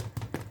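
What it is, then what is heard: Baked-through fruit soda bread. Two low, hollow taps on a fruit soda bread loaf with raisins after its extra time in the oven, each a short dull thud with almost no ring. The hollow sound shows the loaf is baked through, ready and well risen.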